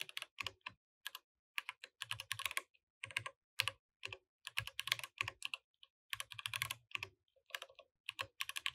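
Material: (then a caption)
Plastic. Both hands type steadily with their fingertips on a compact mechanical keyboard with plastic keycaps, while the mouse sits untouched. The keystrokes are bright, sharp clicks with almost no ring. They come in quick bursts separated by brief pauses, with a soft low thud beneath some of the presses.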